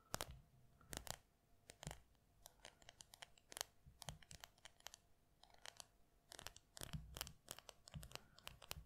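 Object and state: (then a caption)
Plastic lip balm tube. Long red nails tap and scratch a small cylindrical yellow and green plastic lip balm tube held in the fingers. The result is a quiet, irregular stream of sharp, bright clicks mixed with dry scratching and a faint low rumble between taps.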